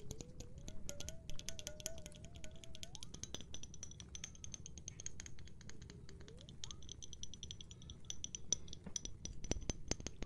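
Rapid, dense tapping on a glass of water goes on steadily throughout, producing crisp, short clicks with bright high ringing overtones over a low rumbling background. Faint tones slide up and down in pitch partway through.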